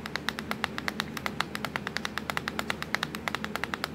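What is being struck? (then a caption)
Plastic laptop keyboard keys. Long pointed nails tap quickly on the black plastic keys of a laptop keyboard, producing a steady stream of 36 short, bright clicks over a faint low hum.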